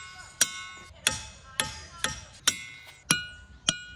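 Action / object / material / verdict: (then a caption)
strike / boulder struck with a hammer / rock / none. A hammer strikes boulders at Ringing Rocks County Park, Pennsylvania, seven times. Each sharp metallic strike rings out with a bright, bell-like tone centered near 1.5 kHz, carrying high overtones that fade quickly between hits.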